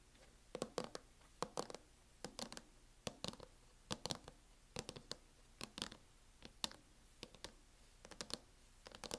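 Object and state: Plastic laptop hard-shell case.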